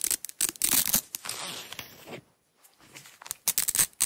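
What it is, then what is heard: Nylon hook-and-loop tape peeled. A small roll of red nylon hook-and-loop tape is held in the hands while long nails peel the strip away from the roll. Bright, crackly ripping bursts come in quick repeated pulls, with a softer stretch of tearing in the middle and a brief near-silent pause before more sharp rips at the end.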